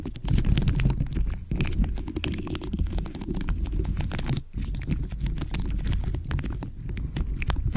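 Nails and fingertips tap and scratch a dome cover studded with pink faceted plastic gems placed over a microphone head. A dense, continuous run of quick clicks and scratchy taps comes through as a deep, boomy rumble with very little high end, briefly dropping out near the middle.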